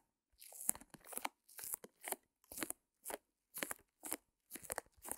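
Long nails scratch and tap a small white canvas wrapped in clear plastic, resting on a fur rug. Short bursts of crisp, crinkly crunching come in quick, uneven runs, bright and airy with almost no low end. Quiet gaps fall between them.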